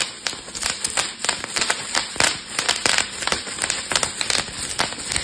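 A crumpled sheet of clear plastic bubble wrap with hollow air cells is held in both hands and squeezed and twisted with the fingertips so the bubbles pop. Rapid, irregular sharp pops and bright crackles sound in quick succession over a continuous rustling of plastic, each snap dying away almost at once.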